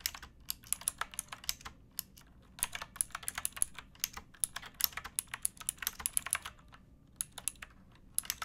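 Fingertips with painted nails type on a pink backlit plastic mechanical keyboard with round keycaps and a hollow case, resting on a wooden box. Quick, bright, clicky keystrokes land in irregular bursts with short pauses, each tap dying away almost instantly over a faint low background hum.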